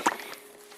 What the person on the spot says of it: Now if I have a thinner motor oil like this, you can actually hear it because it flows that much better.